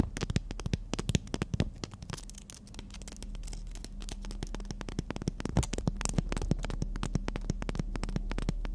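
A long, thin, flat black-and-white emery nail file with a gritty surface, held up in both hands, is scratched and tapped with long natural fingernails. Dense, irregular sharp ticks and crackly scratches die away instantly, over a steady low hum that continues throughout.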